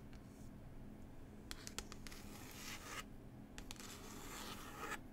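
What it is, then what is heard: Glossy textured book cover being scratched. Long pointed nails scratch and rub the glossy, textured cover of a paper book about New Zealand. Soft, bright scratching swells in waves, broken by a few sharp ticks, over a steady low hum.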